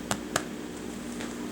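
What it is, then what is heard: Baked-through bread loaf (hollow). Freshly baked homemade white bread loaves, just out of the oven, are tapped, giving two short, sharp hollow knocks over a steady low hum. The hollow sound shows the bread is baked through and done.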